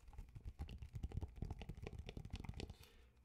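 Fingertips and nails tap fast on the glossy paper cover of an old TIME magazine with the "It's a Hard Life for Ivan" cover, held upright in both hands. A rapid run of soft, dry taps gives dull low thumps with brief bright clicks and no ring. The tapping eases off at the very end.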